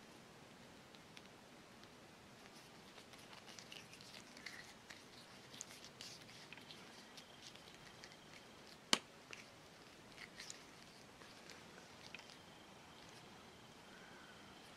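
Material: Rubber.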